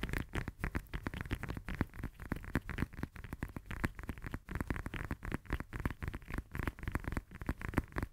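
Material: Citrus peel.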